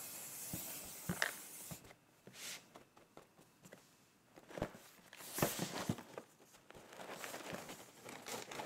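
A fingernail taps and scratches the printed front of a closed, apparently full cardboard rice puffs box, giving sharp dry clicks and bright, papery scraping. The box is then lifted and held in the hand, adding soft cardboard rustling and brief scuffs.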